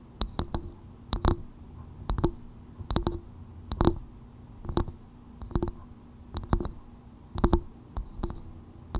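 Long white nails tap and lightly scratch a hollow half coconut shell bowl that is turned upside down over a microphone. Short, dry, hollow knocks come in small clusters about once a second at an uneven pace, with a low woody body, a faint resonant tone and quick bright clicky edges. Each tap dies away almost at once, leaving a soft, steady low hum between the bursts.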